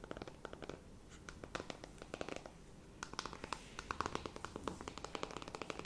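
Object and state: Cardboard eyeshadow palette.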